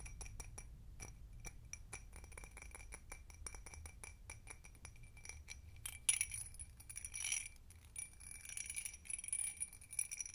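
Long nails tap fast on the sides of an empty hobnail-textured glass tumbler held in the hands. The result is a quick, steady run of bright, short clinks over a faint low rumble. About halfway through, the tapping turns into denser, scratchier bursts of high glassy clatter.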